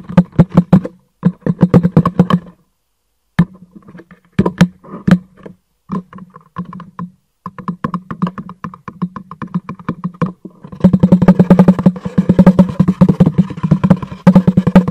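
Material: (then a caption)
Cardboard. Fingertips tap rapidly on the face of a hollow, rectangular black cardboard product box with light trim, held upright. Quick dull hollow knocks with a low boomy tone come in bursts separated by short pauses. The tapping grows denser and busier toward the end.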